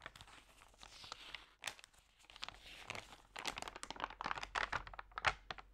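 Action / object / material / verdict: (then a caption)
scrape / magazine with thin paper pages / paper / none. A hand with long nails flips and crinkles the thin, damp pages of a thick magazine lying open. Soft papery rustles build into sharp, bright crinkles and crackles that grow busier and denser in the second half. The result is a quiet, dry, crisp page-turning sound with little low end.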